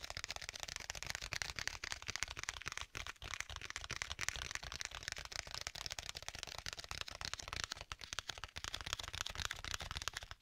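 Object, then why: Stitched leather tablet case. Fingertips tap on a flat black stitched leather folio tablet case with a strap, held sideways, and rub along its edge. The result is a dense, steady run of quick, dry, bright taps and scratchy rubbing with almost no ring, over a faint low hum.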